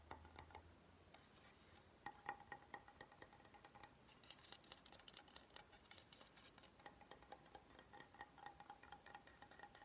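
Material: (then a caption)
Wood. Fingernails tap rapidly on the edge and top surface of an oval, solid wooden cutting board held flat. The quiet, dry, clicky taps have a short hollow ring around 800 Hz and a bright edge, with louder clusters of taps scattered through the clip.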